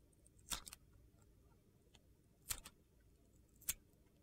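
A metal utility knife blade carves a solid yellow glitter bar of soap, peeling glitter-coated slices from its white interior. Three short, crisp, gritty scrapes stand out, each with a bright, high crackle that dies away almost instantly, separated by near silence.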